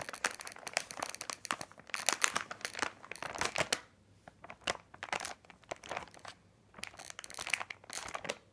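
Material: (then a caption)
Plastic. Fingertips of both hands press and rub the surface of a large printed plastic bag of candy corn, full of small wrapped packs and lying flat on a glittery table. Dense bursts of bright, crisp crinkling and crackling come in quick clusters, easing into brief quieter gaps around the middle before picking up again. The sound is mostly high and airy, with almost no low end.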